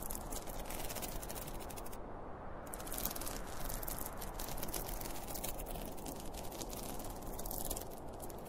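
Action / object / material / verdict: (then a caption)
scrape / zippered polyester fabric pencil case / polyester fabric / none. Fingernails scratch the printed cartoon front and top of a closed, hollow, zippered school pencil case made of polyester fabric. The result is a steady, dense, rustling scratch with a soft low-mid body and faint bright hiss, which thins briefly about two seconds in.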